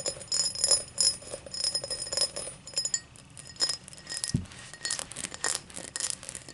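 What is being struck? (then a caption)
Cut crystal highball glass. An empty, tall cut-crystal highball glass is held up by hand while long black nails tap and scratch its cut base. Rapid, bright clinks and scratchy rasps ring out with only a brief shimmer after each, plus a single soft low thump partway through.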